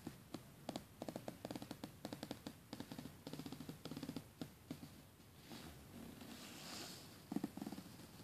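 Fingernails scratch along the teeth of a closed black plastic coil zipper on a red polyester soft-sided suitcase. Quiet, rapid clicking ticks come in short bursts, then give way to a soft, bright rustling swish before a final run of sharper clicks. Each tick is dry and dies away almost instantly.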